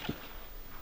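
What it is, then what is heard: Soft earth verge, not asphalt. A metal probe is pushed down through snow into the soft earth verge beside the road, giving a brief, dull, low thud with no ringing, followed by faint background noise. The probe strikes earth, not asphalt, and comes out marked, which tells the crew they are off the road.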